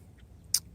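A hand taps the plastic lower dash trim panel under the steering wheel of a 2014-or-later Silverado/Sierra truck, a panel whose screws turn out to be loose enough to turn by hand. One short, bright click stands out over a faint low background. This confirms the panel as the source of the truck's abnormal rattle.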